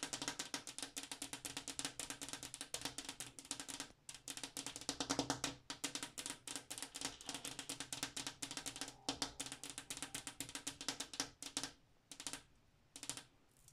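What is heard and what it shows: Long black-tipped acrylic nails tap rapidly across the surface of a large, flat, solid glass bathroom mirror. The bright, sharp clicks die away almost instantly over a faint low tone. The taps come in fast, dense runs, broken by a brief pause around four seconds, and grow sparser before trailing off at the end.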